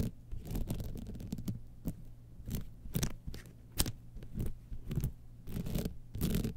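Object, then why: Rhinestone-studded evening clutch bag. Long nails scratch along the studded sides and edges of a gold rhinestone-studded evening clutch bag lying on white fur. Short, dry scratching strokes and sharp ticking clicks come in quick bursts over a constant low rumble.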